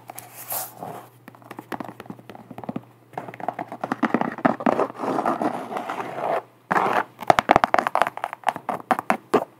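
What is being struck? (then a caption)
Canvas sneaker with rubber sole. Long black nails scratch and tap an empty speckled beige canvas Vans sneaker with a white rubber sole, working over both the canvas and the rubber sidewall. Dry, papery scraping alternates with bursts of quick, crisp taps that stop dead without ringing, over a faint steady low hum, with brief pauses between passages.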